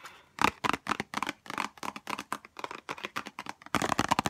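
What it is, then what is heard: Cardboard perfume box. A small white Chanel No5 cardboard perfume box, held in both hands, is tapped quickly with long nails. It gives a rapid run of short, dry, papery clicks with a midrange body and bright edges, ending in a denser flurry of taps.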